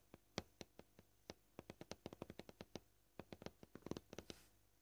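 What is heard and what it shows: Short painted fingernails tap gently on a flat, solid, white scratched plastic cutting board, making about 25 quick, dry clicks with almost no ring. The taps come at an uneven pace, some spaced out and some in rapid bursts, and the last one trails into a brief soft hiss.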